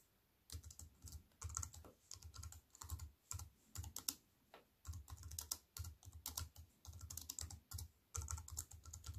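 A compact wireless keyboard with black plastic keys on a grey metal-look frame, lying flat on a wooden table, is typed on with fingertips and long white-painted nails. Quick bursts of short, clicky taps come in irregular runs, with a low thud under each press and a bright, crisp click on top, separated by brief quiet pauses.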